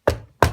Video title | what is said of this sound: REVIEW ICS AK74 RAS (IK74) Pros and Cons | it sounds cheap it looks cheap